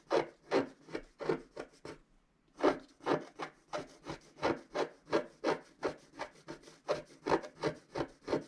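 A wooden stylus scratches across the upper area of a flat black wax-coated scratch-art card while the other hand holds the sheet. About two dozen short, dry, raspy strokes sound one after another, with a brief pause near the two-second mark. Each stroke is bright and papery and stops quickly with almost no ring.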